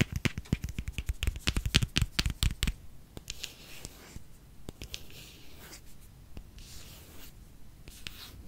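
Long nails tap and scratch a small pink plastic squeeze tube filled with skincare product. A burst of rapid, sharp clicking taps fills the first few seconds, then gives way to softer, sparser taps over a faint, bright scratching hiss. The sound is short and dry, with little ring after each hit.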